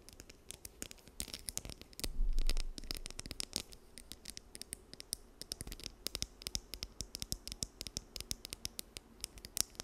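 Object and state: Plastic comb.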